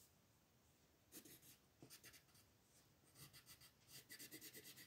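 A yellow wooden colored pencil rubs back and forth across a printed paper mandala coloring book page lying flat on a wooden table while coloring the center. It makes quiet, bright scratchy strokes in irregular bursts over a faint background hiss, quickening into a denser run of rapid strokes toward the end.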